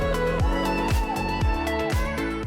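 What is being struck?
Nothing is struck.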